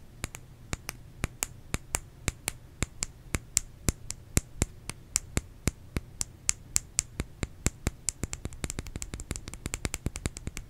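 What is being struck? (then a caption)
Bar of soap. A bar of soap is tapped with fingernails in a steady run of short, sharp clicks with a bright top, growing quicker and denser toward the end. Each tap dies away almost instantly over a faint low hum.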